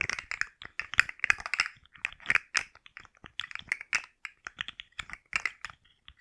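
A rainbow segmented plastic articulated slug fidget toy is held and curled in the hands while long nails tap and scratch its ridged plastic segments. The result is a rapid, uneven series of dry, bright clicks and scratchy crackles with almost no low end and no ring, broken by short pauses.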